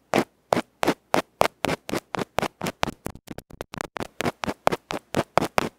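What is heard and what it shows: A small electret microphone capsule, a metal can with a felt cover held in the fingers, has its felt face scratched with a bamboo ear pick. Twenty-five short, dry, scratchy strokes land in a steady rhythm, briefly quickening in the middle, each one broadband with a bright rasp and no ring.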